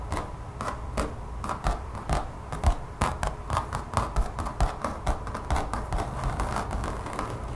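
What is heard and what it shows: Long fingernails on both hands scratch quickly across the surface of a thin, solid, brown textured mat, apparently rubber or vinyl, lying on a table. The result is a fast, irregular run of short, dry scratching bursts, each with a bright rasp over a dull low thump, fading almost at once.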